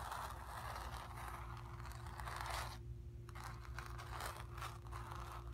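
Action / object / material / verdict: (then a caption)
scrape / acrylic-painted stretched canvas on a wooden frame / canvas / none. Long nails scratch and tap across the surface of a square, acrylic-painted stretched canvas on a wooden frame, hollow behind and resting on carpet. The result is a continuous dry, papery scraping and rustling centred around the midrange, with brief scratchy bursts reaching into the highs and a short near-silent pause about halfway through, all over a steady low hum.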